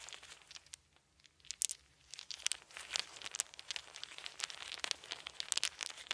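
Small, round, solid wooden beads are rolled between cupped hands, then dropped and trickled from both hands onto a soft blanket. Dense, bright, dry clicks and clattering ticks come in quick bursts, with almost no low end and a brief hush before the trickling grows busier. Each click stops almost instantly, with no ring.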